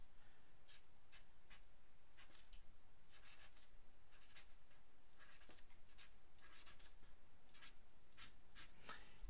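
A black felt-tip pen scratches across a fresh, thin white paper sheet lying flat on a wooden table while writing, with the other hand resting on the sheet. Short, bright, scratchy pen strokes come in quick bursts over a quiet, steady low hum.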